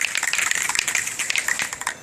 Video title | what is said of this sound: How To: Plasti Dip Rub Strips/Trim - MK4 Jetta | shake the can vigorously until you can hear the ball rolling around there pretty freely